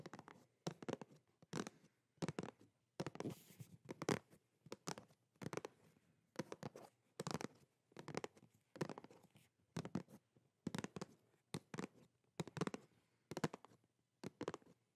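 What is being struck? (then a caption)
Thin plastic video game case. Long nails tap and scratch across a thin, hollow plastic Xbox game case with a printed cover. The result is quiet, dry bursts of clicky taps and rasping scratches that repeat at an uneven pace, with short, dead decays and some low hollow body.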